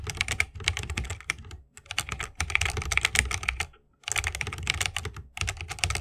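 Fingertips of both hands type continuously on a 60% mechanical keyboard with plastic keycaps and tactile Holy Panda switches in a bamboo wooden case. Dense runs of sharp, bright key clacks carry a low thock underneath, with two brief pauses between bursts.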